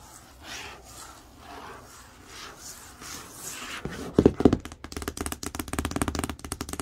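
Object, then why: Large cardboard box. Long acrylic nails slowly rub across the printed screen image on a large, hollow printed cardboard TV box, making soft, breathy swells of scratching. Then they switch to quick, irregular tapping with dull, hollow clicks that stop short with almost no ring.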